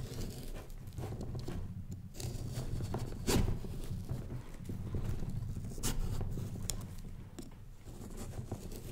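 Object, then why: Pumpkin rind and small knife. A small knife scratches and incises an outline into the rind of a large, fresh orange Halloween pumpkin held from above by one hand. A close, low rumbling texture runs throughout, with dry scraping and crackling. Several sharp, bright clicks stand out as the blade cuts into the rind.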